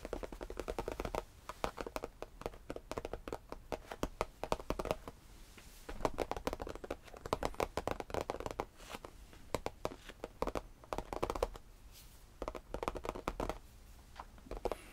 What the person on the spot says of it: This is tapping on faux leather, along with some light scratching/brushing my hand along its surface.